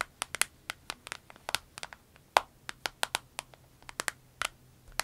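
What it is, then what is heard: Vinyl pencil case tapped with nails. Long nails tap and squeeze a small, clear orange vinyl pencil case held upright with pens inside. The result is a quick, irregular run of sharp, dry, crinkly clicks with bright highs and no ring, over a faint low hum.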